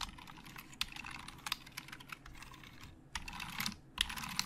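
Fast typing with both hands' fingertips on a hollow black plastic Logitech keyboard. It makes a dense, irregular patter of bright, dry clicks, with louder bursts of quick keystrokes near the end. Each click dies away almost instantly.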